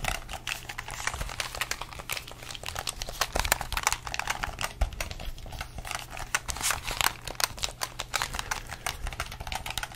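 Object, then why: Plastic game controller. A hollow red plastic gamepad held in both hands has its buttons pressed with the thumbs and its shell tapped with the fingertips. The result is a steady stream of quick, dry, bright plastic clicks and taps that stop short with almost no ring, over a faint low hum.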